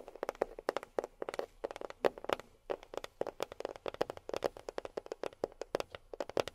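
A box is tapped with long fingernails in quick, irregular bursts, giving about 40 short, dry clicks with a woody midrange body and bright edges. Each tap dies away almost instantly, with quiet gaps between the clusters.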